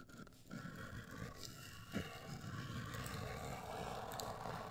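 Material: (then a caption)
Cardboard. Long acrylic nails scratch a hollow, black printed, rigid cardboard cosmetic box held close. A continuous dry scraping rasp with a low, hollow body comes through, swelling slightly in places. A few brighter ticks stand out near the middle and end.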